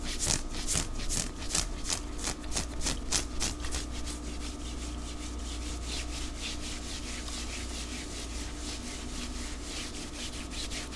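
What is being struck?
Knit cotton long-sleeve shirt.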